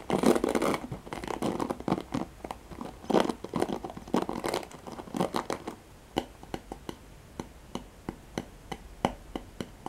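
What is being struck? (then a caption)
Plastic paddle hairbrush with nylon bristles. Fingertips and nails scratch and strum the nylon pin bristles of a handheld black plastic paddle hairbrush. Dense, crackly scratching bursts fill the first half, then thin out into a series of separate, crisp plucked ticks with a short, dry decay.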